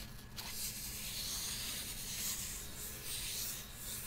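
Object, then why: Small hollow plastic toy purse. Long nails scratch and rub the textured side of a small, hollow, blue glitter plastic toy purse. The result is a steady, bright, hissing scrape that carries on for about four seconds over a faint low hum.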